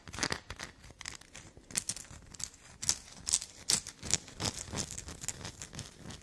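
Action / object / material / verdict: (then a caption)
scrape / bar of black soap / soap / none. Long black nails scrape and scratch a solid black soap block that already bears scratch marks. The result is a quick, irregular run of dry, bright scratching bursts with almost no low end and no ring after each stroke.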